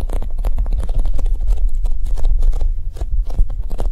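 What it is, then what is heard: Foam squishy toy tapped with nails. Long nails and fingertips tap quickly across the top of a large, solid, soft oval yellow polyurethane foam squishy shaped like a Japanese cheesecake, resting on a table. The result is a fast, steady stream of soft, dull, low thuds, each dying away almost instantly, with faint bright clicks from the nails.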